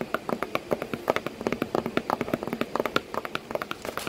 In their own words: ASMR Tapping on a cardboard box that my cat is sitting in